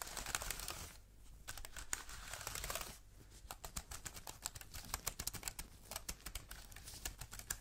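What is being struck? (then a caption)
Aluminium keyboard with plastic keys. An Apple-style wireless keyboard with a thin solid aluminium body and white plastic keys is held up in the hands and tapped and typed on with black-gloved fingertips. The first three seconds bring bright, crinkly rustling bursts; from about three seconds on, quick, dry plastic clicks and taps follow in uneven clusters that stop almost at once.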